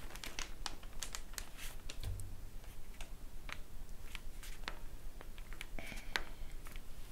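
Long painted nails and fingertips tap across glossy paper promotional store flyers lying flat on a table, after a page is flipped at the start. Quick, irregular, crisp clicks and light paper crinkles sound over a steady low rumble, each tap dying away almost instantly.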